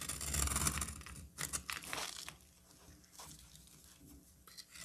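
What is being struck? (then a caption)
Solid bar of soap. A utility knife blade scrapes and cuts a solid cream soap bar held in the hand. A long, bright, crunchy scrape opens the clip, followed by a few short shaving strokes. It ends in quieter, softer scrapes and flakes.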